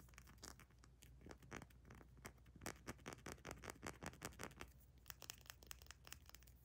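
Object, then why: Small glass dropper bottle with paper label. Long nails rapidly tap and scratch a small amber glass essential oil dropper bottle with a paper label and black plastic cap. Quick, irregular clicks and crisp scratches run throughout, over a faint low hum.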